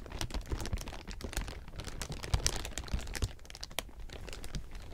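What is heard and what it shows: A large heap of thin, clear plastic sheeting is rubbed and scratched with fingertips, making dense, continuous crinkling. Rapid, sharp crackles spread from a low rumble up into bright, high frequencies and stop almost instantly, with slightly louder bursts around the middle.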